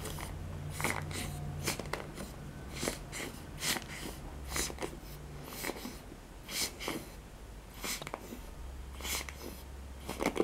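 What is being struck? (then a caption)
Plastic paddle hairbrush with nylon bristles. Long fingernails scratch and rake across the dense nylon bristles of a hand-sized black cushioned plastic paddle hairbrush with a long plastic handle. The result is a series of short, bright, crackly bristle strokes over a steady low hum.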